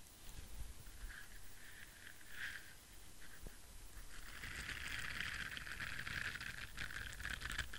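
An orange silicone scrubber brush with rows of soft bristles is scratched with nails and fingertips while held close. It gives soft, bright scratchy rustling centered around 2 kHz, which builds denser and louder from about four seconds onward, over a faint low rumble.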